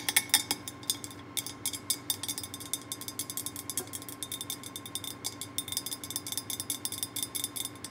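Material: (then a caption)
Ceramic. A glazed orange ceramic pumpkin candy jar with a black knob lid and cut-out face, hollow and filled with wrapped candy bars, is tapped with fingertips and long painted nails on its lid and top. A rapid, steady run of bright, crisp clicks and clinks follows, each dying away almost instantly, with no low-end body.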